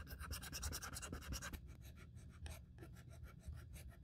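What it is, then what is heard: Leather handbag edge being sanded. A small sandpaper strip held in the fingertips sands the cut edges of an open, empty black grained leather Saint Laurent handbag with quick rubbing strokes. Soft, bright, scratchy rasps repeat over a low rumble, busier for the first second and a half and then spaced out and quieter.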